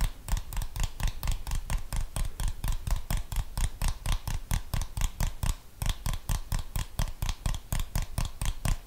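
Fingernails tap and scratch on a handheld plastic TV remote control with buttons, held in one hand close to the microphone. About three dozen quick, dry taps come in a loosely steady stream, each with a deep low thump and a bright clicky edge, over a faint steady tone.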